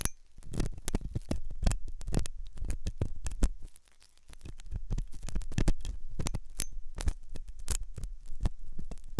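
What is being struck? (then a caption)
Silicone ear with a metal pick. A metal dental pick scrapes and scratches inside the hollow ear canal of a white, soft silicone ear on a binaural microphone. The result is a dense run of short, close-up scratching and clicking sounds over a low, rumbling body, with a brief quieter dip near the four-second mark before the scraping resumes.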